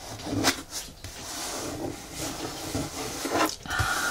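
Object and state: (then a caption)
Cardboard box. Fingertips and nails tap and scratch the top edge of a medium brown corrugated cardboard box with its flaps partly open and a hollow inside. Three short, hollow taps stand out over a steady, dry scratching rustle, each tap dying away almost at once. A faint steady tone enters near the end.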